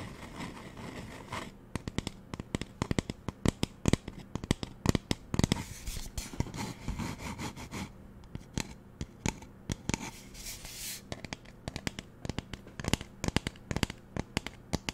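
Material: Plastic.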